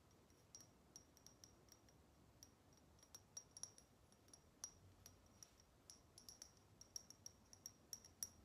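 A small, hollow, shiny chrome metal cat-shaped salt shaker, held in both hands, is tapped and scratched with long nails. The result is an irregular series of quiet, short, bright metallic clicks and clinks with a high ring, over a soft scratchy hiss.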